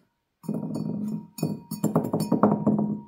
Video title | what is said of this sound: La terre rouge de la briquetterie | elle sonne un petit peu et c'est pourtant une terre qui a été cuite ici qu'à 980°